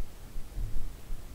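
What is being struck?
Nothing is struck.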